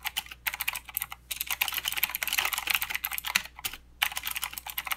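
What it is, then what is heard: Plastic mechanical keyboard. Both hands type continuously with their fingertips on a full-size mechanical keyboard with plastic keycaps and blue clicky switches. The result is a rapid stream of sharp, bright clicks with almost no low end, each click dying away instantly. The typing runs in bursts, with a few brief pauses and a longer gap just before the final second.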